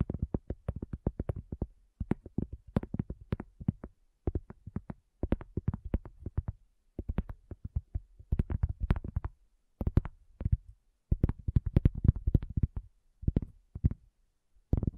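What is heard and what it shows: A round, flat, solid cork coaster is tapped by the long fingernails of both hands, with a handheld recorder at its front edge. Quick bursts of dull, low, dry clicks with almost no ring come in short clusters separated by brief pauses.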